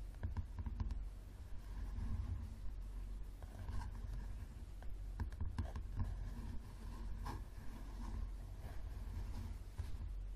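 A thick, solid paperback book with a yellow cover lies flat on a table while the fingertips and nails of both hands tap and scratch its cover. The result is a steady run of soft, dull taps and dry scratches with very little ring, sitting mostly in the low range.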